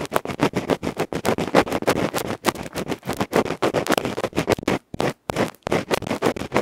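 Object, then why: Small aluminium microphone capsule with felt face, scratched with a bamboo ear pick. A bamboo ear pick rapidly scratches the black felt face of a small hollow aluminium electret microphone capsule held in fingertips. The result is loud, dense bursts of broadband, dry scraping and rasping, strongest in the low mids with bright hiss. The strokes come in a fast, irregular rhythm, with only brief gaps, including a short silence near the five-second mark.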